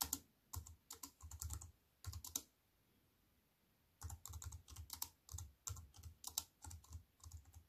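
A compact wireless keyboard with black plastic keys on a grey metal-look frame sits flat on a wooden table and is typed on with fingertips and long white-painted nails. Quick bursts of bright, sharp tapping clicks with a soft low thud under each keystroke are heard. The typing stops for about a second and a half before resuming.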